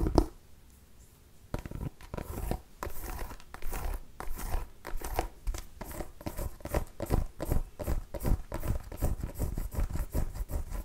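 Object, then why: Small pumpkin with a hard ribbed rind. A small orange and cream striped mini pumpkin with a hard, ribbed rind is held up close to the mic and scratched and tapped with long nails. After a brief near-silence, a quick run of dry, crinkly scratches and short, clicky taps follows. Each stroke stops almost instantly, with a muffled low thump underneath and a bright scratchy edge.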